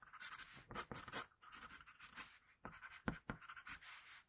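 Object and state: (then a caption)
Pencil drawing on paper. A hand shades and scratches lines with a wooden pencil on a flat sheet of paper. Quiet, dry, bright scratching strokes come in short bursts separated by brief pauses, with a few sharper clicks of the tip near the end.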